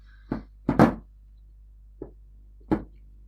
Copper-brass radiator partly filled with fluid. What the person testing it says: give it a shake. You can hear there's lots of air in there.